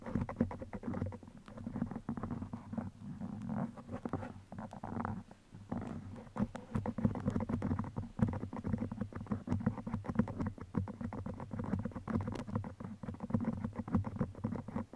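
Fingers flick and wiggle bead-headed steel pins stuck into the sides of a black foam microphone windscreen. The result is a steady, quiet stream of soft, dense crackles and scratchy taps over a low, rumbling thump, with little high-end brightness. A few brief pauses break the texture before it resumes.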